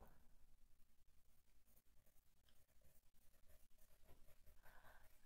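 A colored pencil is rubbed and scratched in short, quick strokes across a thin paper page lying flat in an open adult coloring book. The result is a quiet, steady run of soft, dry scratching strokes with a low rustle underneath.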